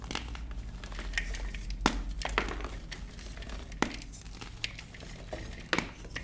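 A large white solid block of gym chalk (magnesium carbonate), chilled in the freezer, is crumbled and squeezed apart by fingertips with short painted nails over a dark bowl of loose chalk powder. Soft, dry crumbling and crinkly crackles run throughout, broken by a few sharper, bright snaps as pieces give way, over a faint low steady hum.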